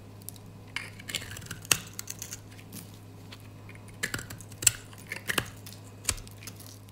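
A gold utility knife blade scrapes crunchy layers off the surface of a solid, oval, dry pink soap bar held in the hand. The sound is a series of crisp, bright, crackling scrapes in irregular bursts, over a quiet, steady low hum.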